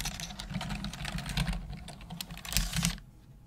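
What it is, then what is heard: Plastic computer keyboard being typed on. Long nails and fingertips type quickly on the hollow keys of a black plastic desktop computer keyboard, making a dense run of bright, clicky taps over a low, steady hum. The typing stops just before the end, leaving only the faint hum.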